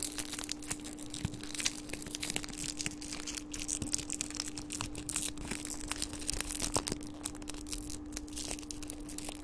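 A small, thin, hollow crumpled gold metallic foil wrapper is held in the fingertips and crinkled and squeezed right beside the microphone. It makes a dense, continuous stream of bright, crackly crinkles and sharp snaps at a fairly even level, over a steady low hum.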